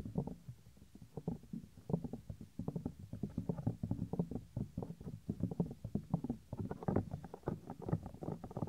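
Fingertips rub and scratch the small, solid, white soft silicone ear of a 3Dio binaural microphone. The result is a steady run of close, muffled rustling and scratchy bursts, heavy in low, boomy rumble with no bright edge. The strokes come in quick, uneven clusters that grow denser and slightly louder toward the end.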